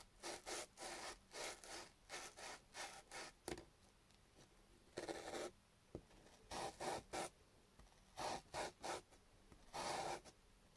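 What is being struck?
Raw potato piece on sandpaper.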